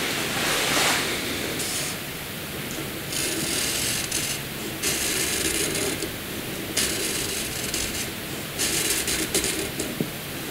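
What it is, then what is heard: Graphite pencil scratching on paper. A black wooden graphite pencil is drawn across a flat sheet of white drawing paper on a table, its tip shading and drawing strokes in a scratching, rubbing action. The result is a steady, bright, hissy scratch that swells in irregular bursts as each stroke starts and stops, with little low end.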